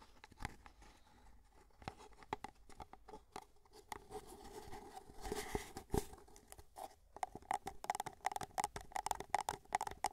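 Fingertips tap the base and sides of an empty white paper cup held up in the air, making a quiet run of quick, light taps. Each tap is a dry, papery click with a faint hollow tone in the midrange that dies almost instantly. The tapping grows faster and denser toward the end.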